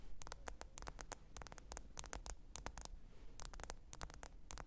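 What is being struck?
Smartphone glass screen.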